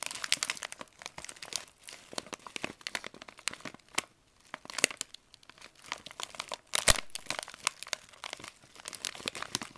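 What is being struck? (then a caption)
Plastic candy pouch. Fingers pinch, crinkle and lightly shake a partly filled green plastic pouch of vitamin C drops held in both hands. The result is dense, bright crackling and crinkling with sharp snaps, a brief quiet pause around the middle and the loudest burst near the seven-second mark.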